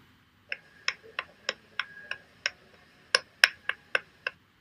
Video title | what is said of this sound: Join us LIVE with Dr Jiro Abe & Dr Yamazaki Fumiaki on 22nd Sunday 11AM IST | tapping point becomes lower pitched. This uniform sound allows us to verify her mandibular jaw became very, very stable.